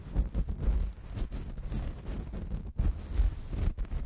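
Gloved hands handle the two small hollow metal X/Y microphone capsules on a Zoom handheld recorder: one hand in a latex glove rubs and scratches the metal capsules with its fingertips while the other, in a black knit cotton glove, brushes them. Because the capsules are touched directly, the result is deep, boomy handling noise on the mic itself, a steady run of low thumps and muffled rubbing with faint brushy hiss above. There is a brief near-silent gap just before the three-second mark.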